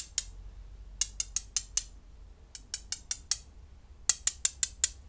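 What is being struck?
Small flat-backed glass gems.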